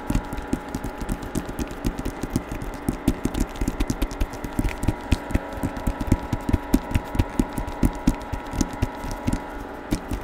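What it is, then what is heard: Hardcover book with paper dust jacket. Fingertips tap on the covers of a hardcover novel with a paper dust jacket, held open or at an angle close to the microphone. A rapid, uneven run of short, dull, low-pitched taps dies away almost instantly, with almost no high-end brightness, over a faint steady hum.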